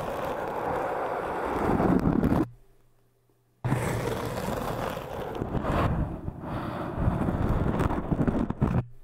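A metal crochet hook and a thin metal needle, held in the fingertips, scratch the surface of a tall, solid-looking orange hard foam cylinder. The result is a dense, continuous rasping scrape. It cuts to near silence for about a second, then resumes just as rough and steady until the end.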